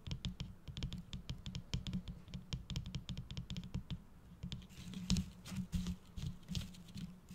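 Fingertips and nails tap and scratch the loops of a gold holographic foil bow on a red tinsel-covered gift-box decoration. The first few seconds are a quick patter of light, crisp clicks that then give way to a louder, hissier scratching rustle, all over a steady low hum.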